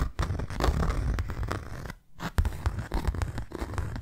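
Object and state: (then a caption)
Cardboard box scratched and tapped. Long nails scratch and tap the face of a closed, hand-sized white cardboard box. The result is a dense, dull, low-heavy rustling scratch broken by quick soft taps, with a brief quiet gap near the middle before the scratching and tapping resume.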